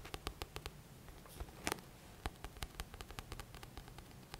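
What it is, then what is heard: Paperback book cover tapped. Fingertips and short nails tap and scratch the glossy paper front cover of a thick, solid paperback book held upright. About twenty quiet, dry, bright clicks come in an irregular patter, each dying away almost instantly, with a brief scratchy rustle partway through over a low steady background hum.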